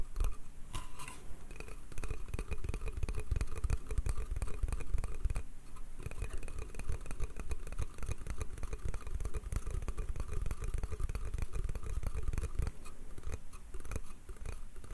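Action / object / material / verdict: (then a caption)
tap / small pine slatted crate / pine wood / none. Fingertips and nails tap and scratch the slats of a small, hollow pine slatted bath crate held in both hands. The result is a steady stream of quick, dry, woody taps and scrapes with a deep, hollow low-end thump and no ringing.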